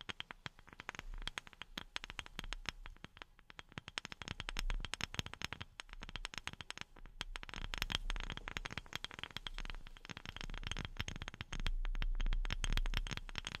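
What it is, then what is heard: Wooden object tapped with silicone fingertip pads. A wooden object is tapped with silicone rubber pads worn on the fingertips. The result is a rapid, uneven flurry of soft, dull taps, mostly low thuds with light bright clicks. Each tap dies away quickly.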